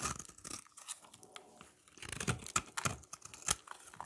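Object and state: Dry soap bar, scraped.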